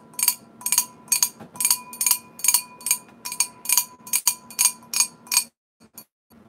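An empty, thin clear glass wine glass, hollow and held by the stem in one hand, is tapped on the bowl by long silver metallic nail caps on the other hand. About sixteen quick, bright, high clinks land in an uneven rhythm with very short ring, over faint steady tones. The taps stop near the end, leaving a few softer ticks.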